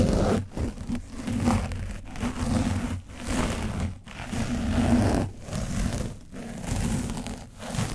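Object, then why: Paint-coated foam microphone windscreen. A foam brush is pressed and brushed across the top of an orange foam microphone windscreen coated with dried paint. It makes a close, dense, scratchy crinkling and rustling with a heavy low rumble, in repeated strokes separated by brief quiet dips.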